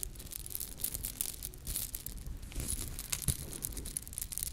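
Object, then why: Small ornate metal charm. A small, ornate gold-colored metal charm is held up by its top in front of the microphones and scratched with long lilac nails. The result is a steady, dense stream of quick, crisp scratching with a bright, high hiss over a soft low rumble, and occasional sharper ticks.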